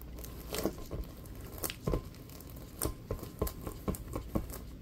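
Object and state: Rubber basketball tapped with gloved fingers.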